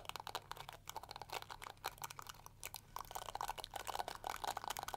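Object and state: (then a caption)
Plastic detangling hair brush. Long nails scratch and strum the flexible plastic bristles of a small, round, pink-and-yellow plastic detangling hair brush. They produce dense runs of quick, dry clicks and crackly flicks centred in the mid-range around 700 Hz, with a bright edge. The strumming grows busier and louder over the last two seconds.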